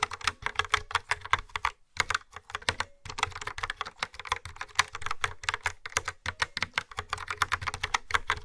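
Fingertips with long nails type on a yellow-framed mechanical keyboard with dark round keycaps and a hollow plastic body. The keystrokes are quick, sharp, bright clacks with almost no ring, with brief pauses near the 2 and 3 second marks.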